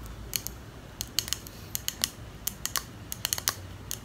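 Long nails tap rapidly on the sides of a small clear glass perfume bottle with a pink plastic cap, making about 18 sharp, bright, keyboard-like clicks at an irregular pace. Each click dies away almost instantly over a faint low background hum.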